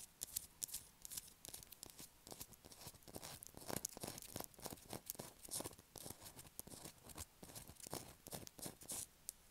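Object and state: Bar of soap scratched with nails.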